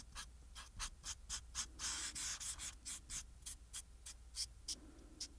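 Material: Paper.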